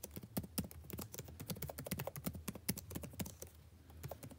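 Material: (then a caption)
Plastic. Fingertips type continuously on a backlit laptop keyboard with plastic keys. The result is a rapid, uneven stream of short, dry clicks with bright edges and a soft low thud under each tap, easing off slightly near the end.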